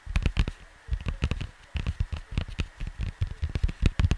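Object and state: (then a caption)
Cardboard record sleeve tapped. Fingertips tap and scratch across the surface of a cardboard vinyl LP record sleeve. A rapid run of short, dull, low-pitched taps comes in bursts separated by brief pauses, with faint papery scratching between them.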